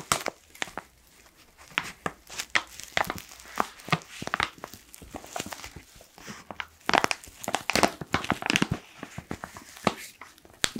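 A black foil-lined plastic coffee pouch is held upright in both hands while fingers squeeze and crinkle its sides. Dense, dry crackling and crinkling bursts come in uneven clusters, bright and papery with little low end. They grow louder and busier in the second half.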